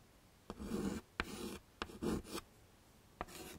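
A stick of yellow chalk is scraped across a small, flat black chalkboard in a wooden frame to draw leaves. Six separate raspy strokes are heard, each starting with a sharp tap and trailing into a dry, grainy scratch. Short quiet gaps fall between the strokes.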